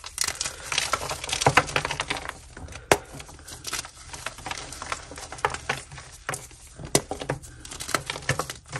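A solid white magnesium carbonate gym chalk block coated in red powder is held and crushed between both hands with long nails, crumbling into chunks and powder over a dark surface. Dense, dry crunching and crackling fill the clip, broken by sharp, bright snaps that die away almost at once.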